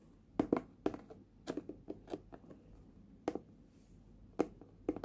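Fingers tap from below on a small red hard plastic lunch box with a printed lid. The result is a quiet, irregular series of short, dull, hollow knocks with a low-mid tone and almost no ring, separated by near-silent pauses.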